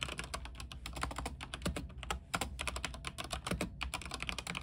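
Fingertips type rapidly on a mechanical keyboard with white plastic keycaps, set on a silver frame with backlighting. A dense run of sharp, bright clicks and clacks rattles out over a steady low hum, each keystroke dying away almost instantly.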